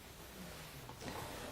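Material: Nothing is struck.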